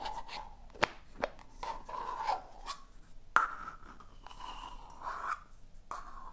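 A small, hollow, empty yellow plastic two-part egg capsule is held in both hands while long painted nails tap and scratch its shell and work the seam as it is opened and closed. Five sharp plastic clicks stand out among soft scratching and rubbing with a hollow mid-toned ring around 1.4 kHz. The clicks die away quickly.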